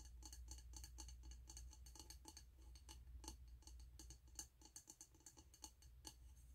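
Fingertips and nails tap the side of a medium, wax-filled, frosted white glass candle jar with a snowman print and a gold metal lid, held in the hands. Quick, irregular, light clicking taps with a bright, glassy tone die away almost instantly over a steady low hum.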